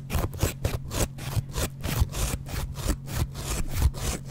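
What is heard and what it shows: A double-edge metal razor blade scrapes back and forth across the yellow foam face of a dry kitchen sponge with a green scouring layer, held in the hand. The result is a quick run of short, rough rasping strokes, each a brief burst of dry scratchy noise with a dull, low-heavy body and little ring between strokes.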